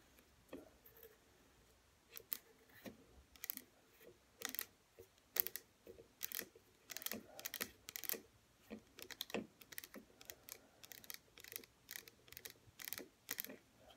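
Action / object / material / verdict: tap / small plastic bottle with liquid, tapped by fingernails / plastic / none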